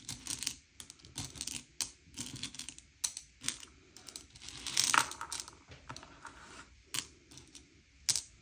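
Fingertips slide and push a pile of small, hard, sugar-shelled M&M's candy-coated chocolates around on a grey plate, sorting them by colour. The clip is a string of bright, dry clicks and rattling clacks as the candies knock against each other and the plate, in irregular bursts with short quiet gaps. Each click dies away almost instantly, with a few sharper, louder clacks standing out.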